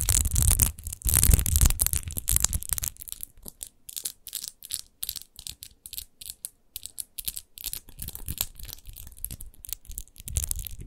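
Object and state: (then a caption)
Textured glass bottle being scratched. Long nails scratch fast over a large, hollow, clear glass rose-shaped wine bottle with a rose-textured base, apparently empty. The result is a dense run of short, dry, bright scratching strokes with almost no ring, heaviest and loudest in the first three seconds, then thinning into quicker, quieter, uneven bursts.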